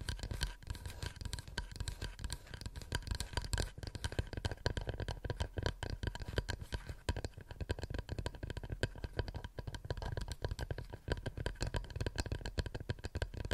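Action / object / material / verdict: tap / wooden plate / wood / none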